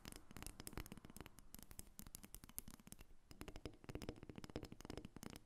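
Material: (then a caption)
Wood. A solid carved dark-wood dolphin figurine, about 30 cm long and resting on a glass table, is tapped and scratched with long red acrylic nails. The result is a dense run of quick, dry, woody clicks with very short ring and a low-mid body, interspersed with faint scratching.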